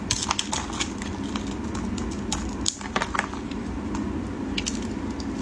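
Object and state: Bar of soap being carved.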